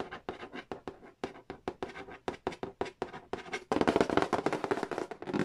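Fingertips and a small pen-like tool tap quickly along the lid and edge of a hollow cardboard Monopoly board game box. Short, dry, hollow taps come in a steady run. In the last couple of seconds they become louder and denser, a brisk flurry of mid-toned clicks with almost no ring.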